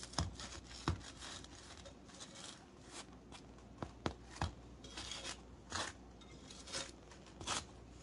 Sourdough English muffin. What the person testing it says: they sounded hollow inside and that's how you can tell a lot of times if your Bread's done when you tap on it